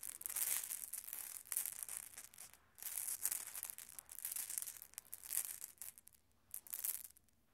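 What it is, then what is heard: Glass marbles. Many small, solid glass marbles on a red carpet are swept and gathered by bare hands and fingertips, so they roll and click together in quick, bright clusters with a soft rubbing of the carpet underneath. The clattering comes in several bursts separated by brief quiet pauses, and the sound is quiet, high and thin with almost no low end. It fades out at the end.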